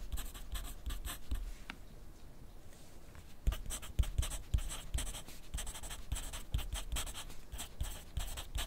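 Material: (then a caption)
Paper. A wooden graphite pencil is drawn across a thin grid paper sheet clipped to a flat clipboard on a desk while writing. It makes quick, dry scratching strokes with bright hiss and soft low taps against the board, with a short quieter pause near the start before steady writing resumes.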